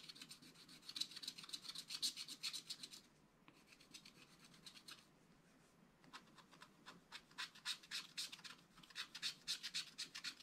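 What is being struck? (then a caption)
Coated scratch art paper card scratched with a wooden stylus. A wooden stylus scratches short, rapid strokes across a flat black-coated scratch art card, etching a rabbit. The dry, bright scratching comes in quick bursts, pauses twice, then resumes at an uneven pace.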